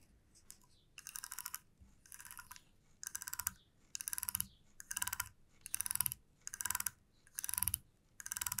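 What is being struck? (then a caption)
Wooden comb. Long nails tap and strum the teeth of a flat, light wooden comb. Nine quick bursts of rapid, bright, dry clicks come at a steady pace with short pauses between them.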